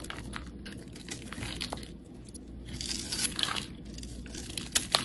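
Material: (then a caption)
Soap. A rectangular solid yellow bar of soap, held in the hand, is shaved and scraped with a utility knife blade, throwing off crumbly shavings. Dry, bright, crinkly rasps come in irregular strokes over a steady low hiss, with a few sharper crunchy scrapes near the end.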